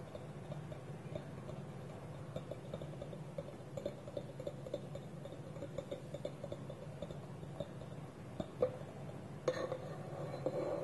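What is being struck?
Small wooden bowl with wooden lid.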